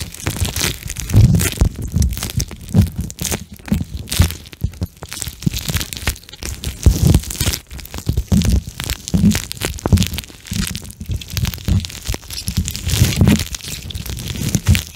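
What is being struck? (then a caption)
Gel bead eye mask. A pink gel bead eye mask is held above a microphone while its beads are squeezed and rubbed with fingertips. The result is a dense, continuous stream of soft, low squishing and crackling, with brief crunchy bursts and faint bright texture on top.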